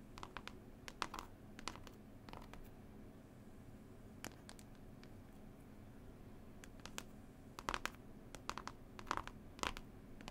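Long nails tap and scratch a textured, cloth-covered CD case with a picture panel, making quiet, dry clicks and brief scratchy rasps. Taps come in clusters near the start and again toward the end, with sparser scratching in between over a faint steady low hum.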